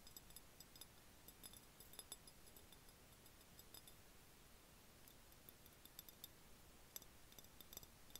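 An empty, hollow clear glass jar is held and tilted in the hands while fingertips and nails tap its body and threaded rim. About twenty quiet, scattered taps and clicks are heard, each a short, bright glassy tick that dies away almost at once over a low, steady background hiss.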